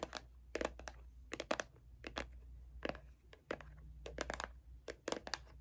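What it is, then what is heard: Plastic lotion bottle. A small, hollow white CeraVe plastic moisturizer bottle with a blue cap is held in hand and tapped and scratched with long acrylic nails. Quick, sharp, bright clicks come in uneven clusters, with soft scratchy rustles between them. A faint, steady low hum runs underneath, and each tap dies away almost at once.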